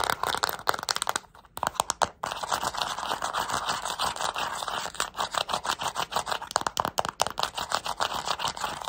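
Long nails press the colored rubber buttons and tap the body of a small, flat plastic LED remote control. The result is a fast, steady stream of dry, bright clicks and scratchy taps, with a brief quieter gap early on. Each hit stops almost instantly.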